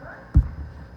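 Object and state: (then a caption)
Hollow clay pinch-pot form. A hollow, closed clay pinch pot is tapped gently on a table to smooth it and shape it into a cube, with the air inside helping to hold its sides up. A soft, dull, low thump sounds, with almost no ring and nothing bright, over a quiet low background.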